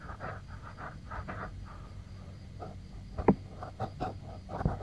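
Fingertips and nails scratch and rub the soft silicone ear and ear canal of a white 3Dio binaural microphone, a solid, roughly hand-sized unit. The result is close, muffled rustling and scraping in irregular bursts, mostly low and midrange, with a few sharper, louder scrapes toward the end.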